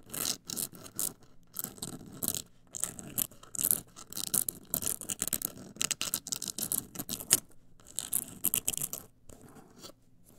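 A black printed rigid cardboard cosmetic box, medium-sized and hollow, is scratched and tapped with long acrylic nails. The result is a run of short, bright, dry scratching bursts and quick taps separated by brief pauses, with little low-end body.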